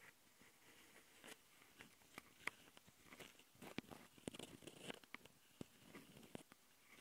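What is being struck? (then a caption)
Handheld recorder microphone capsules, metal mesh grille on plastic body. Long nails from both hands scratch the metal mesh grille microphone capsules on a small plastic Tascam handheld recorder. A close, quiet, dry rasping and scraping runs throughout, broken by sharp bright clicks and ticks that stop instantly with no ring.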